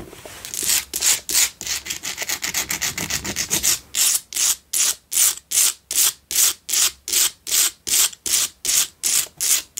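Long pale-blue acrylic nails scratch around the rough sides of a fist-sized pink Himalayan rock-salt candle holder, a solid block with a hollow candle well on top, lit from inside and standing on a dark cloth. Quick, closely spaced scratches in the first few seconds give way to slower, evenly paced rasping strokes. The sound is a dry, bright, hissy scrape with almost no low end.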